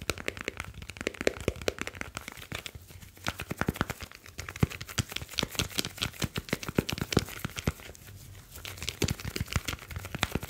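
Fingertips of both hands rub and tap the grey aluminium back of a smartphone with a glass screen and metal back. The result is a dense run of sharp, short clicks and taps over a soft, crinkly rubbing texture, with bright ticks reaching high and a low hum underneath.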